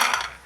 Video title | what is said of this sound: CHANA FRIES RECIPE -- AALOO FRIES BHOOL JAO CHANA FRIES BNALO--Damaka Recipe | यह देख आवाज से पता चल रहा है इतनी कुरकुरी हो गए हैं